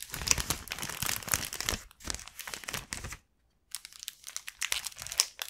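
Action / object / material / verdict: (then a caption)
scrape / thin soft plastic bag / plastic / none. An empty, thin, soft mint-green plastic (vinyl) gift bag with a white flower print is held and opened with both hands and fingertips, its film flexed and crinkled. Dense, bright crinkling and crackling comes in bursts, with very little low end. It falls silent for about half a second near the middle, then resumes.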